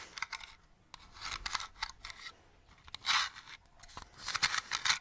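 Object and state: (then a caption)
Plastic toy lantern. Long nails tap and scratch the sides of a small, hollow, hand-sized purple plastic Halloween lantern with a witch cutout, held close to the mic. Bursts of bright, crisp scratching alternate with sharp taps and brief quiet gaps. The sound has almost no low end and dies away quickly after each stroke.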